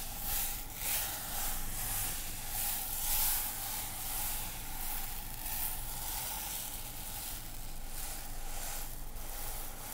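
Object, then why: Container holding dry couscous. A container filled with dry couscous is shaken, giving a steady, sand-like hissing rustle that swells and fades in loose waves over the full ten seconds.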